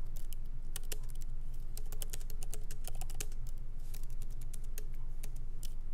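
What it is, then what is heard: Laptop keyboard typing. Both hands type lightly with their fingertips on the plastic keycaps of a MacBook Pro laptop keyboard set in an aluminum body, resting on a wooden desk. Quick, bright, irregular clicking taps run continuously over a steady low hum.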